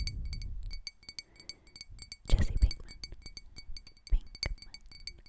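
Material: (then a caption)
Glass. A glass object is tapped over and over in quick, uneven clinks. Each tap gives a bright, high ring over soft low thuds. A couple of louder, fuller knocks stand out near the middle and toward the end.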